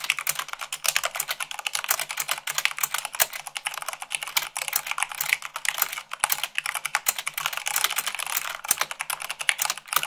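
Fast typing with long acrylic nails on a full-size plastic mechanical keyboard with white plastic keycaps on a black base. The result is a dense, steady stream of short, bright clacks and taps, each dying away almost at once, with no low end.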